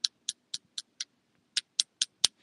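A cuticle pusher taps nine times on an acrylic nail overlay to check whether the acrylic has cured. The taps are short, sharp, high-pitched clicks with no ring, five in a row, then a brief pause and four more. The crisp tapping sound means the acrylic is dry.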